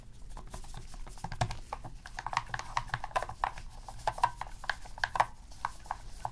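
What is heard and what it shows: Gloved fingertips repeatedly press and click the plastic buttons and d-pad of a black, hollow plastic PS3 game controller resting on a dark mat. A rapid, uneven series of short, dry plastic clicks sounds, mostly mid-pitched around 900 Hz with a little bright tick, each dying away almost instantly over a faint low background rumble.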